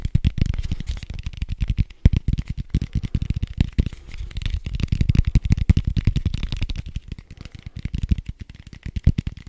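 A red soft-foam die with white dots is held in one hand while the fingertips of the other hand rapidly tap and scratch it. It makes a dense, continuous stream of short, muffled, low thuds and rustles with very little brightness and almost no ring.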